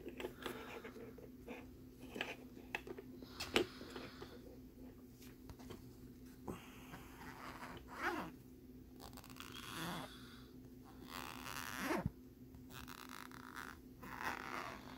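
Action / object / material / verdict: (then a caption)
scrape / thin plastic lenticular postcard / plastic / none. Fingernails scratch across the ridged surface of a thin, flat plastic lenticular postcard with a jellyfish image. The result is quiet bursts of rasping, bright scratching with a few sharper ticks, over a steady low hum.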